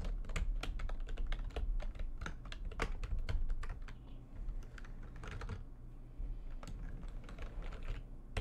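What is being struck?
Plastic computer keyboard.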